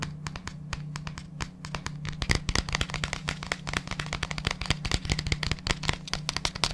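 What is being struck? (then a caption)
Plastic supplement tub. Fingertips tap and scratch the labelled side and base of a large, hollow white plastic supplement tub held close to the mic. Dense, rapid, dry clicks and short knocks with bright, crisp attacks die away almost instantly, layered over a steady low hum.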